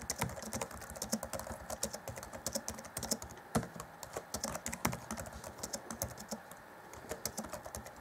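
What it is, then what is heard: Plastic laptop keyboard. Both hands type rapidly with their fingertips on the black plastic chiclet keys of an Acer Chromebook C20 (2014) laptop keyboard. The result is a dense, steady stream of short, bright plastic key taps with occasional louder strikes and very little ring.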